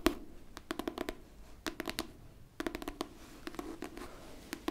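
Long pink fingernails scratch the top cover of a pink hardcover book held flat, making a quiet, rapid series of short, sharp scratching taps that come in clustered bursts. Each stroke is a brief, dry, bright rasp over a faint hollow tone near 330 Hz, with almost no ring after.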